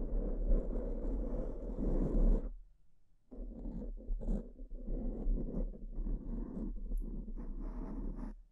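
Long purple-painted nails of one hand scratch and rub a soft, porous, fist-sized black foam windscreen over a microphone, close up. A dense, muffled, low scratching rumble fills the first two and a half seconds, then stops for nearly a second of near silence. It resumes as uneven bursts of rustling scrapes until the end.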